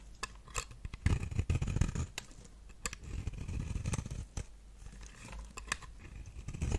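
A knife blade shaves thin curls from the edge and face of a solid, palm-sized round bar of dry pink soap held in the hand, with the shavings piling up. The result is an irregular run of soft scraping cuts broken by sharp, crisp clicks, with brief bright snaps over a low, dull body.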